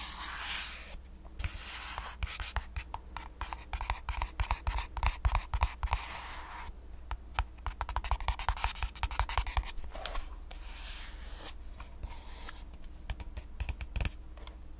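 A slightly larger white printed cardboard box, hollow and held in the hands, has its surface rubbed and scratched with fingertips and nails. Dense, irregular scratching clicks and dry rubbing hiss come in uneven bursts, some brighter and sharper than others, with quieter stretches of soft rubbing. A steady low hum sits underneath throughout.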